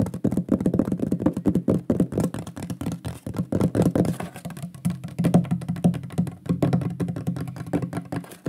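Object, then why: Flat wooden board. Fingertips and nails tap fast on a large, flat, shield-shaped solid wooden pyrography plaque with a burned lion design, held upright. It gives a rapid, continuous stream of dull, woody knocks, centered low around 176 Hz, with almost no high end. Each tap dies away almost instantly.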